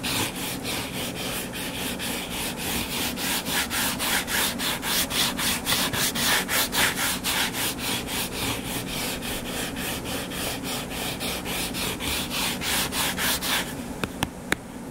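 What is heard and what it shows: Fingernails scratch and rub back and forth across the cover of a purple-covered paperback book lying flat and solid, making a steady, rhythmic, bright scraping at nearly four strokes per second. Near the end the scratching stops, leaving a quieter hush broken by a few sharp clicks.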